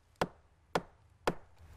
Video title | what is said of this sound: Meio Ambiente por Inteiro - Viveiros (1º/04/17) | Parece um som de madeira maciça.